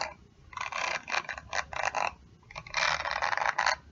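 Long nails scratch and flick across the dense plastic/metal bristles of a round hairbrush held in one hand. The result is bursts of dry, crackly scraping that fill the mid-to-high range, with short quiet pauses between the flurries.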